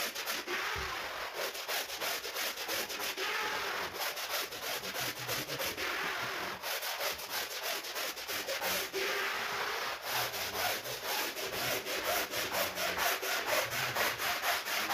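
A red long-handled bristle brush scrubs back and forth across a large, wet, soapy woven rug lying on a marble floor. Steady, rapid strokes of about two per second make a bright, scratchy, swishing rasp with a continuous hiss and almost no low end, holding an even level throughout.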